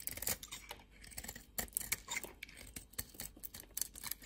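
A red and white bar of soap, held in fingers with long nails, is cut by a metal blade that takes chunks and flakes off. Quiet, crisp scraping and crunching cuts come in quick irregular bursts, mostly bright and high with little low end. Each cut stops short with no ring.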